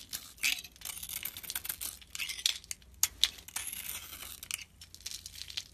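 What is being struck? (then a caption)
Bar of soap. A utility knife blade scrapes and shaves thin flakes off the surface of a solid oval blue glitter soap bar, now mostly cream-colored inside, held in the hand. The shaving gives dry, bright, crinkly scraping strokes with a few sharp high ticks. Almost no low end is heard.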